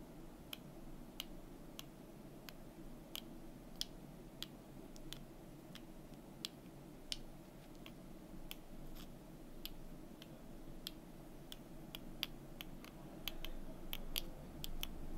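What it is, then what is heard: Wooden cubes tapped with nails. Long nails click, tap and turn two small, solid, orange-painted wooden number cubes held in both hands. Around 28 short, dry, bright clicks come at an uneven pace over a steady low hum. They grow slightly denser and louder toward the end.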